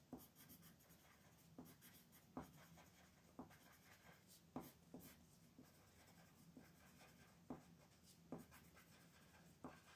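A brown wooden colored pencil rubs and scratches across a thin mandala paper coloring sheet resting on a wooden table while coloring. Soft, steady scratchy strokes carry a faint low-mid tone, broken by sharper ticks as the pencil is pressed or lifted. The whole clip stays quiet and close.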